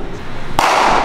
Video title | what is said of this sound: [아저씨 야구해요?] 데상트(Descente) 글러브 종류별로 다 모아봤다!! 오늘은 데상트 Day~♥ | 이렇게 소리도 딱딱한 소리가 나요.